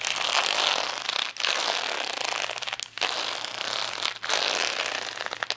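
Long nails scratch across the gems of a plastic rhinestone sticker sheet resting on a towel, with some handling of the sheet. The result is a dense, bright, crackly scraping in four sustained passes, separated by brief pauses.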